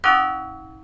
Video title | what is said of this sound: Modal Driving Point Survey | 不協和音や、あまり音楽的ではない音が聞こえ始めます